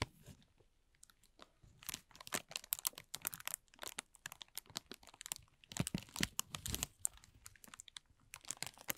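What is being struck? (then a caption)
Thin plastic film bag. A thin, clear plastic film bag is balled up and crumpled in both hands, producing a dense stream of sharp, bright crinkles and crackles. The quick snaps come in uneven bursts, with quieter pauses between the busier stretches.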